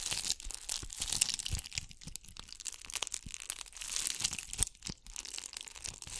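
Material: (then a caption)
Glass beads. Long acrylic nails scratch a gold bugle-bead covered ball held beside the mic, producing dense, bright crackling and crinkling with rapid tiny clicks. The rustling texture stays mostly high with brief low thumps and swells in intensity throughout.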